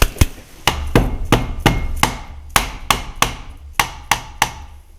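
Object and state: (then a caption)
Loose part on a milling-machine dividing head. A dead-blow mallet taps a loosened part on a metal milling-machine dividing head during disassembly, kept gentle so as not to strain the central bolt. Thirteen short, dull knocks with low thump and a faint hollow, vibrating ring are heard. The hollow sound and vibration show the part is loose and has movement.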